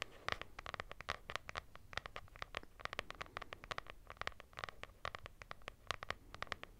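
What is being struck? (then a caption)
Hardcover notebook with textured fabric cover. Long nails scratch the textured fabric or linen cover of a lilac hardcover notebook with a solid paper block, held beside the mic. A rapid, uneven series of short, dry scratching strokes runs throughout, each bright and centered around 1 kHz, with no ring after each stroke.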